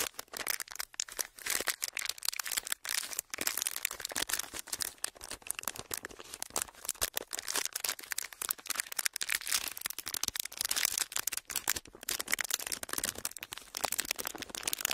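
A pleated clear plastic wrapper sheet is held upright and flexed and crinkled between the fingers of both hands. It makes a dense, continuous run of sharp, bright crackles and crinkles that stop instantly with no ring, carrying almost no low end throughout.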